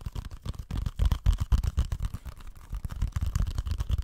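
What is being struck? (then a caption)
Plastic game case. Fingertips and nails scratch and tap the surface of a small, flat, hollow plastic video game case with a printed orange paper insert, held in both hands close to the microphone. The result is a quick, uneven run of soft, dull, low tapping and scratching sounds that stop short without ringing.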